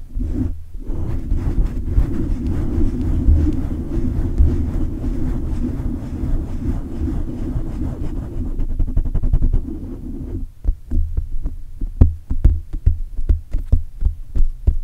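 Fingertips and short nails rub and scratch the sides of a silver condenser microphone's hollow metal mesh grille, producing a dense, boomy low rumble of friction noise. After about ten seconds the steady rubbing gives way to a string of separate sharp scrapes and thuds.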